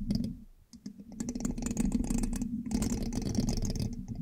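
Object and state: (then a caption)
Metal microphone mesh grille. A thin metal pin held in the fingertips scratches and taps the hollow black metal mesh grille of a large USB microphone. Dense, irregular clicking and scraping over a low hum runs throughout, with bright crackly bursts, a brief lull near the start, then steady busy tapping to the end.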